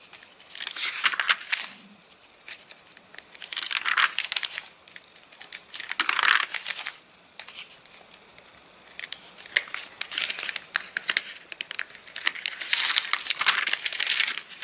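Fingertips rub and flick the page edges of an open, rain-dried paper catalogue with crinkled pages. Bright, dry crinkling and rustling comes in repeated bursts separated by short quiet pauses, with little low end and a quick decay.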